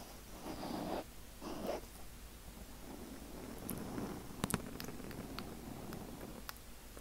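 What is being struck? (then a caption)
Foam microphone windscreen. Fingertips and nails of both hands quickly scratch and rub a black foam windscreen on a microphone. Two louder, muffled rubbing bursts come first, followed by softer, steady scratching dotted with a few sharp, bright clicks.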